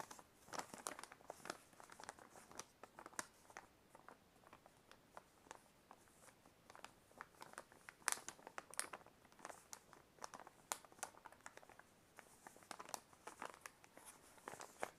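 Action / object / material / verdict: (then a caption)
scrape / paper envelope / paper / none. A white paper envelope is held upright in both hands while fingers crinkle, squeeze and rub the paper. Quiet, dense, bright crackles and rustles come in quick bursts throughout, with almost no low end and a few sharper, louder crinkles standing out.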